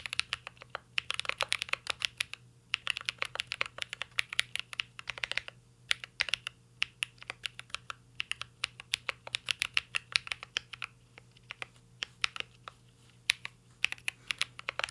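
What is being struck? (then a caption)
Mechanical keyboard with metal case and plastic keycaps. Fingertips type continuously on a mint-green Cyberboard R3 mechanical keyboard with a metal case and plastic keycaps. Its bright, crisp key clicks come in quick, uneven bursts with brief pauses, each tap dying away almost instantly over a faint low steady hum.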